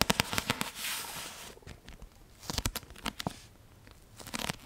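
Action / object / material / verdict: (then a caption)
tap / paperback book with card cover / paper, card / none. A solid Half-Blood Prince paperback with a card cover is tapped with long painted nails, giving a quick series of sharp, dry, clicky taps with almost no ring. A brief bright, rustling wash rises between the bursts of tapping.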